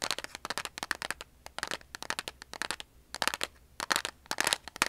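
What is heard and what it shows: A large cardboard matchbox held in the hands is tapped and scratched along its sides and printed faces with long polished nails. The result is a quick, uneven run of dry, bright clicks and scratchy crackles in short bursts, each dying away instantly, with almost no low end.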